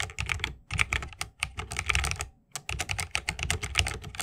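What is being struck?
Mechanical keyboard, bamboo case, plastic keycaps.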